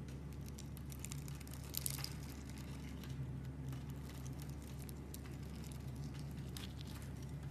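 A metal blade scrapes along a solid, hand-sized bar of coral-pink soap that is held in the hand and pre-scored into a grid, flicking off small soap cubes. Soft, dry scraping and crumbly patter sit over a steady low hum, with brief bright ticks as the pieces break away.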